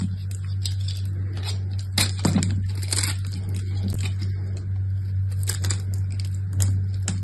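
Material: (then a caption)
Soap. A small, solid purple soap bar with some gold coating left is held in the hand and scraped and carved with a utility knife. Dry scraping and crisp shaving sounds come in short bursts over a steady low hum.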